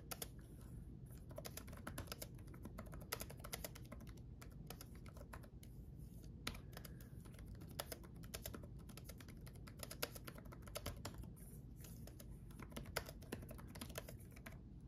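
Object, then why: Plastic laptop keyboard keys. Both hands type fast with their fingertips on a black gaming laptop keyboard with red backlit plastic keys. A steady stream of quick, light clicks and taps sits over a constant low hum, with occasional sharper, brighter key strikes.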